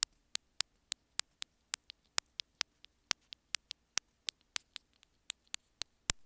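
Long fingernails tap and scratch the surface of a small white plastic earphone inline remote held in the fingers. About two dozen sharp, bright, very short clicks come in an uneven rhythm over a faint low background hum.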